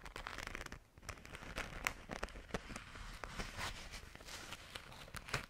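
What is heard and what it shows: Long nails scratch and tap across a small, flat, pink glitter-coated fabric zipper pouch. The result is a dense, crackling, scratchy texture with quick, sharp, bright taps over a low rustle.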